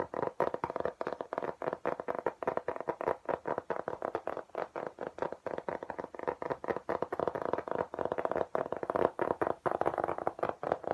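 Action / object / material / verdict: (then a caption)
tap / textured hard plastic laptop case / plastic / none. A flat, thin, pale grey-green hard plastic laptop case with an embossed diamond pattern, about tablet or laptop size, is held upright in both hands and tapped quickly with the fingertips. A steady stream of short, dry, clicky taps sits mostly in the low-mid range around 500 Hz, with almost no bass or high brightness. Each tap dies away almost instantly.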